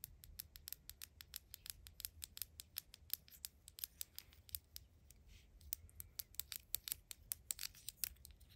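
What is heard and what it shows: A tiny dark plastic deodorant-style tube with an orange cap, a small and likely hollow Mini Brands toy, is held in the hand and tapped and scratched with long acrylic nails. Quick, dry, bright clicks come in a rapid irregular stream with very short decay. Softer scratching sounds run between the taps.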